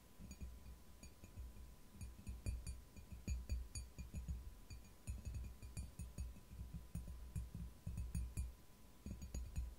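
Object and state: Ceramic mug.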